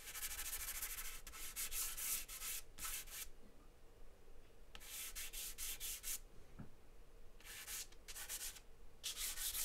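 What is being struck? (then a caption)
Charcoal stick on a paper drawing sheet. A charcoal stick scratches and scribbles hatching strokes across a large white paper sheet taped flat on a table. Quick bursts of bright, dry, scratchy rubbing come in clusters, separated by short quiet pauses with a faint low background hum.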